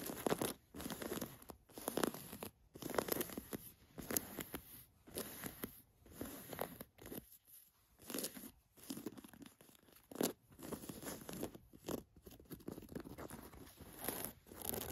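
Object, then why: Cotton canvas jacket. Long nails scratch and rub the hem, the pocket and the fabric surface of an olive cotton canvas jacket. The result is quiet, dry, papery rasps and crinkly scrapes in short irregular strokes separated by brief silences.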